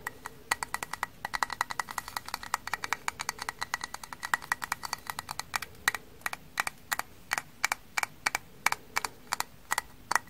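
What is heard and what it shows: Frozen kitchen sponges, frozen stiff, are tapped, giving rapid hard clicks instead of soft sponge sounds. The sharp, bright clicks ring around 2.3 kHz and die away almost instantly. They come in a quick run over the first half, then space out into slower, separate taps.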